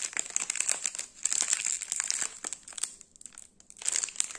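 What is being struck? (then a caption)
Plastic film wrapper of a biscuit bar. A small, full Gullon Cuor di Cereale sandwich biscuit bar in its sealed plastic/foil film wrapper is held and turned in the fingers while the fingertips crinkle it. Quick, bright crackles come in dense bursts, with brief quieter pauses near the middle and just before the end. There is almost no low end.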